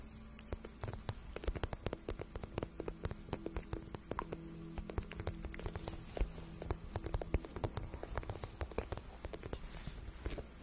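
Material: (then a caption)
Vinyl. Long nails scratch and tap along the soft, hollow shaft of a glossy pink patent vinyl boot, making a rapid, uneven run of dry, quick clicks and taps. The brief, sharp ticks sit over a steady low hum and fade almost instantly.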